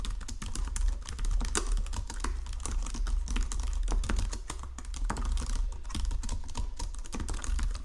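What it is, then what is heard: Plastic computer keyboard being typed on. Fingertips with painted nails type rapidly across the low-profile keys of a full-size white and silver plastic Logitech keyboard resting on a marble desk. A dense stream of quick, light plastic clicks and taps is heard, with brief brighter key strikes over a steady low hum.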